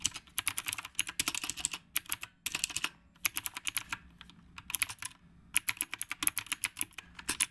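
Fast fingertip typing with both hands on a retro typewriter-style mechanical keyboard with round plastic keycaps. It makes dense bursts of crisp, bright clicks that stop dead, with brief pauses between runs of keystrokes.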